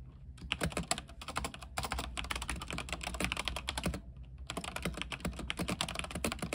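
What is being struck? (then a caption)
Mechanical keyboard with plastic keycaps. Fingertips type rapidly on a backlit mechanical keyboard with white plastic keycaps on a silver frame. Quick, bright clacking keystrokes come in dense bursts with short pauses, the longest just after the four-second mark, over a steady low hum.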